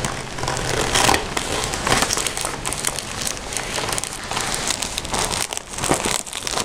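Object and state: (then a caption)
Vinyl pencil case, scratched. Fingertips with short painted nails scratch and rub the outer printed surface of a red glossy PVC/vinyl-coated zip pencil case with a Hello Kitty print, soft and hollow and holding pencils. Steady crinkly, crackling scratches with bright hiss fill the clip, with louder bursts of rubbing along the way.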